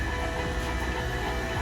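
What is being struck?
Nothing is struck.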